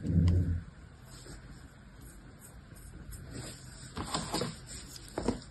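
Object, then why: Kinetic sand in a plastic mold, cut with a metal blade. Yellow kinetic sand is pressed into a small orange square plastic mold held in the hand while pink-nailed fingers work a metal knife blade across it, scraping and cutting the sand. A dull low thump opens the clip, followed by a quiet, steady gritty scrape and then a few louder, brighter cutting swipes near the end.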